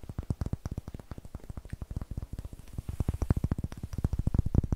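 A solid, light wooden block with rough end grain is held over the mic and tapped and scratched with long nails and fingertips. About 34 quick, dull, low taps follow in a fast steady rhythm, each dying away almost at once. They grow a little louder toward the end over a faint scratchy hiss.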